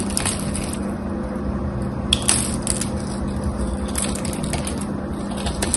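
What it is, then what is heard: Dry bar soap being carved. A small knife blade, held by a hand with long white nails, carves and shaves a solid, dry gold-coated bar of soap with a cream interior and gold edges. The result is a steady, dry scraping crunch over a low hum, with bright hissy shavings and a few sharper crackles standing out.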